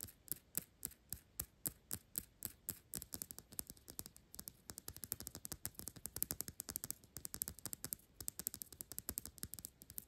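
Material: Glass.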